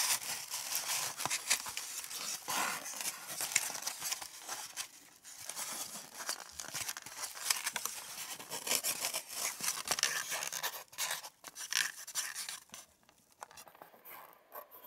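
Long nails and fingertips scratch and tap the hollow domed cups of an empty white polystyrene foam egg carton. The result is a dense, bright, crackly squeaking and scraping with quick dry taps and almost no low end. Near the end the sound thins out into quieter, sparser scratches.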